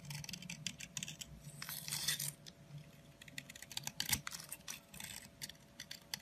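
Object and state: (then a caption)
Bar of soap being carved. A small metal blade shaves crumbly flakes off a long, narrow, solid orange soap stick held in the hand. Quick, irregular strokes make dry, bright scraping and crackling bursts with a faint low hum beneath, each scrape ending abruptly with almost no ring.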